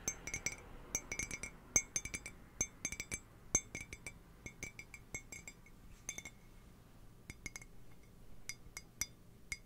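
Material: Ceramic.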